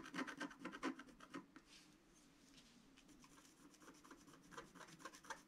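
A long wooden stylus scratches a flat black sheet of wax-coated scratch art paper around the reindeer. Quick, dry rasping strokes come in bursts at the start and end, with a softer, steadier scrape in the middle.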